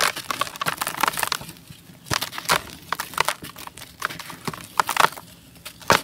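Bare hands and fingertips break and crush a solid, dry, gray-beige molded sand-cement chunk into loose, gritty powder in a basin. Dry, bright crunches and sharp cracks come in uneven bursts, separated by soft gritty crumbling and quiet gaps. The block ends up as loose powder.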